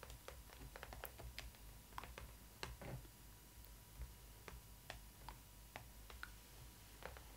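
Long red nails tap and scratch the printed front of a large hollow cardboard doll box, which has a Stitch cardboard tab at the front and the doll inside. Quick, dry, bright clicks and taps are heard scattered across the clip with soft scratching between them, over a low steady hum.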